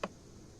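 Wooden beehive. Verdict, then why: Nearly empty. A single tap on a wooden beehive gives a short, clear knock with a mid-range tone that dies away almost at once. The clear sound points to a nearly empty hive with low honey reserves, and on opening, the frames are dry with only a little honey.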